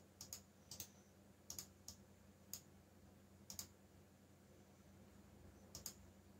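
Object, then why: Plastic mechanical keyboard keys. Fingertips type on a backlit mechanical keyboard with black plastic keycaps, producing a sparse run of twelve sharp, bright key clicks, mostly in close pairs. Each click dies away almost at once over a faint low hum.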